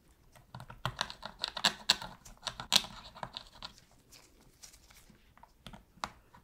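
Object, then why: Hard plastic game controller. A metal pick scratches and clicks in the gaps around the shoulder buttons of a hollow, black hard-plastic PS3 controller held in a gloved hand while it is being cleaned. About 16 short, bright ticks and scrapes sound in quick succession, each dying away almost at once. The clicks are loudest early on and grow sparser and quieter toward the end.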